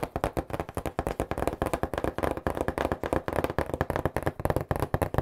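Fingertips tap rapidly and steadily on the top and sides of a hollow cardboard pizza box held close to the mic. Dozens of quick, dull, hollow thumps follow one another with a low body and very little brightness, each dying away almost at once.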